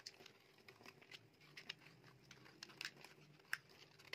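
A metal utility knife blade scrapes and carves shavings off a solid, dry, bright green oval bar of soap about the size of a palm. The quiet, crisp scraping crackles and crinkles throughout, broken by sharp, bright ticks and snaps as the shavings come away.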